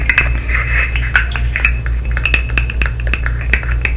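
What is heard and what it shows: A colorful segmented plastic fidget slug toy with hollow articulated segments is tapped, clicked and flexed with long nails and fingertips close to the mic. A quick, irregular run of short, bright plastic clicks and taps rings briefly around 1.5 kHz. A steady low hum sits underneath throughout.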